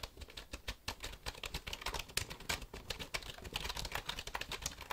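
A black plastic computer keyboard is held tilted close by while fingertips tap and click its keys. A quick, irregular run of dozens of short, bright plastic clicks follows, each dying away almost instantly over a soft low thump.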